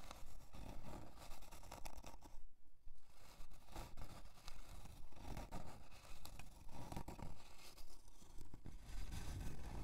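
Long dark almond-shaped nails scratch a thin, flat, light plywood heart-shaped hanging decoration with a jute twine loop as it lies on white faux fur. Steady, rhythmic, dry scraping strokes repeat at a fairly even pace, with a brief quieter gap in the middle, over a heavy low-end rumble.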